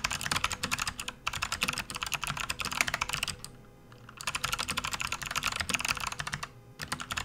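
Fingertips type on a full-size plastic backlit RGB computer keyboard resting on a desk mat, producing rapid, bright, short clacks with little low end. The typing comes in bursts with brief pauses near 1.2 seconds and around 3.5 to 4 seconds, and one hand leaves the keys near the end, leaving a sparser stream of clicks.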